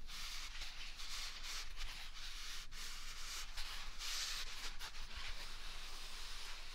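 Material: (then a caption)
Paper. A single large white paper toilet roll with a hollow core is held close to the mic and scratched and rubbed with the fingers and palm. It gives a steady, dry, papery scratching hiss that is bright and crackly, with soft swells as the strokes change, over a faint low rumble.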